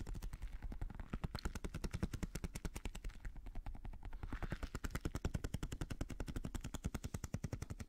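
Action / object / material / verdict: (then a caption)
tap / rubber stress ball filled with gel beads / rubber / none. A small translucent blue squishy stress ball, likely a rubber skin filled with gel beads, is held in one hand while fingertips and nails tap it rapidly. The result is a fast, steady stream of short, dull, low thumps with very little high-end brightness and almost no ring after each tap.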